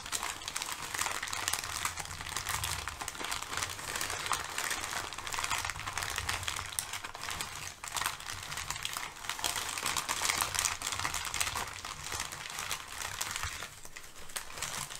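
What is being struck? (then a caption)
Thin kraft packing paper. Thin brown kraft packing paper, crumpled and held between both hands, is crinkled while nails scrape along its folds. A continuous dense crackle of bright, papery rustling runs for the full length with a faint low rumble underneath, dipping briefly in loudness around the middle and again near the end.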